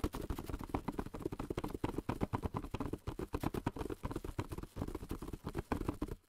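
A long, narrow, hollow printed cardboard box of cling film lies on a table and is tapped with fingertips wrapped in plastic film, so faint film crinkle may mix in. The result is a quick, uneven run of short, dull, hollow knocks, mostly low-pitched with a body around 240 Hz, each dying almost at once.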